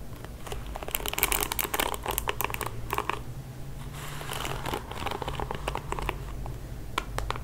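Fingertips and nails scratch and flick the plastic bristles of a pink plastic paddle hairbrush. Dense, bright crinkly scratching is broken by quick, sharp ticks as the bristles snap back, over a steady low hum.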